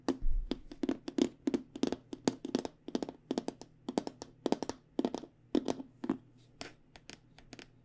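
Fingernails tap quickly on the aluminum rails and black panel of an aluminum-framed hard microphone case held on its side. Dozens of short, dry clicks and light knocks come in uneven bursts over a faint steady low hum, each dying away almost at once.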